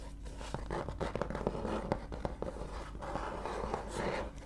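Fingernails scratch and rub the beige paper pages of an open book near the spine. A soft, steady papery rubbing runs throughout, punctuated by repeated short, sharp scratching ticks, with a mellow low-mid tone and very little bright content.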